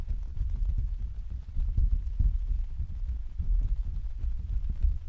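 Fingertips tap and pat an open translucent white plastic/vinyl umbrella on a stand, its thin hollow canopy giving dull, deep thumps. The pats come quickly and overlap in a steady, soft, low drumming with almost no brightness and very short ring.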